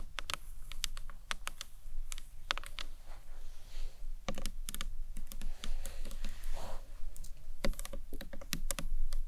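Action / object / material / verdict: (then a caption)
tap / acrylic box clutch / acrylic / none. Long acrylic nails tap the sides, then the top edge, of a small, closed, rectangular hollow box clutch of green marbled acrylic with a round clasp. The taps come as quick, sharp, bright clicks in irregular bursts that die away almost at once, over a steady low hum.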